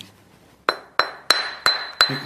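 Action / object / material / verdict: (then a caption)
strike / flint nodule struck with a hammerstone / flint / sound. Five sharp taps on a flint nodule during flint knapping, as a piece is knocked off it. Each strike gives a bright, glassy clink with a clear high ring that fades quickly. The flint rings quite well, showing it is good to work.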